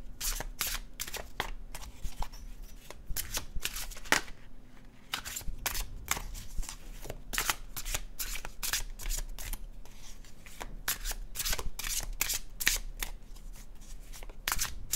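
An illustrated cardstock tarot deck is overhand shuffled by fingertips, producing a steady run of crisp, bright papery slaps and flutters as the cards fall in quick bursts. The short, dry hits repeat throughout over a faint, steady low hum.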